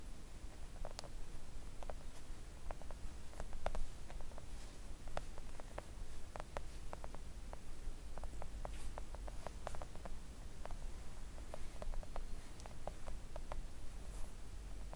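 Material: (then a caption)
Silicone. Long acrylic nails gently tap a flat pink silicone nail art mat lying on a table. Soft, quick, dull taps come in an irregular patter and die away almost at once, over a quiet, steady low hum.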